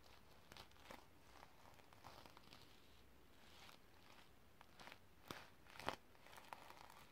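Fingertips with long red nails rub and scratch back and forth across a flat rectangular notebook covered in iridescent reversible plastic sequins. The result is quiet, dry, crinkly scratching with soft rustling, broken by a few sharper clicks and ticks near the end as the sequins flip.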